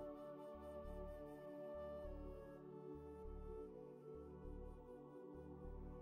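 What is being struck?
Nothing is struck.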